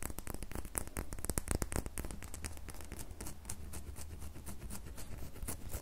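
An unwrapped, solid, red, glittery square bar of glycerin soap is held in the hand while long nails scratch and tap its surface and edges. Dense, quick, crisp scratches and taps run throughout over a steady low hum. The burst is busiest in the first two seconds and then settles into softer, continuous scratching.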